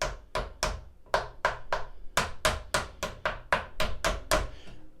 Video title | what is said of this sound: Unleash Ultimate Sound: Audiophile Mods for Your Turntable Revealed! ft. The Funk Firm! #vinyl #hifi | we put this on and all of a sudden those resonances go away